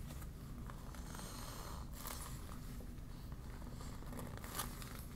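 A deflated yellow PVC vinyl beach ball is crumpled and opened in the hands while long nails rub and crinkle its thin vinyl. Quiet, steady crinkling and rustling sits over a low background rumble, with occasional brighter crackles and scratches.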